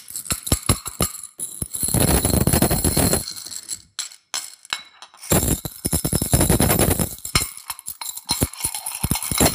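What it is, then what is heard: Coins shaken in a glass jar. A handful of mixed metal coins in a small, clear, partly full glass jar is held in both hands and shaken over a wicker chair. The coins rattle and clink against the glass in fast, irregular bursts of bright metallic jingling with a dull low thump underneath. The bursts are broken by short pauses.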